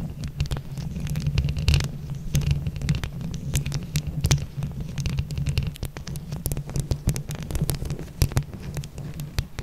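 A microphone grille decorated with small hollow plastic flower buttons is scratched rapidly with long acrylic nails on both hands. The result is a dense, continuous rumble of low throbbing scrapes, scattered with sharp, bright clicks and crackles as the nails catch on the buttons.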